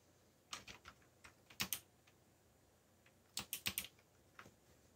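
Fingers resting on a backlit black plastic mechanical keyboard tap its keys while typing. They produce short, bright, clicky keystrokes in irregular clusters separated by quiet pauses. Each click is crisp and dies away almost instantly.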